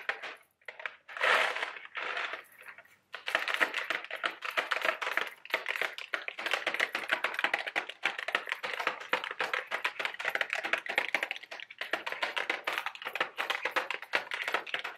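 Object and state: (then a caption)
Cardboard candy box. A small, hollow Mike & Ike Buttered Popcorn cardboard candy box, apparently full of candy, is held in both hands and tapped with long, sharp acrylic nails. Rapid, dry clicks and taps follow one another almost continuously, with a brief pause near the start. The sound is bright and papery with no low end and very short decay.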